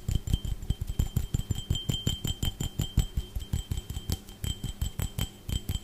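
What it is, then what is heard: Glass drinking tumbler. A clear, empty, hollow drinking glass held close to the microphone is tapped and scratched rapidly with fingertips and nails. About thirty quick, uneven taps land as short, heavy low thumps with a faint, steady high ring above them.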